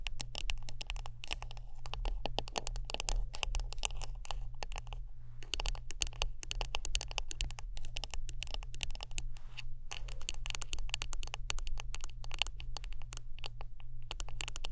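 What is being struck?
Wooden brush.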